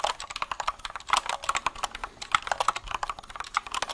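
A compact white mechanical keyboard with a plastic case and keycaps, held up close to the mic, is typed and tapped with the fingertips. It gives a quick, steady run of sharp, dry plastic clacks centred in the mids with bright upper edges and almost no low end. Each click dies away almost instantly.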